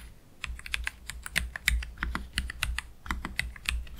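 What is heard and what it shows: Slow fingertip typing with both hands on a black Keychron K3 Pro low-profile mechanical keyboard with Gateron Red low-profile switches and plastic keycaps, resting on a desk mat. About twenty short, crisp key clacks land at an uneven pace, each with a bright tick near 2 kHz over a soft low thud. Every press dies away almost instantly.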